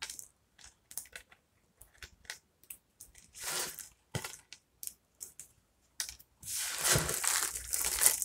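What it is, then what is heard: Dry, brittle soap fragments being crushed. Fingertips and palms press, crush and rub through a pile of small broken dry soap pieces in blue, white and green, solid brittle fragments resting on a wooden table. Short, bright, dry crunches and crackles come in irregular bursts, and in the last two seconds they build into a continuous, dense grinding crunch.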